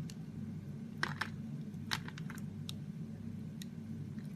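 A solid pink ridged Roxy soap bar held in the palm is scraped and carved with a utility knife blade. Soft, crisp scraping clicks and short crunches come through over a steady low hum. The cuts sound quiet and dry, with brief bright snaps as the blade bites into the soap.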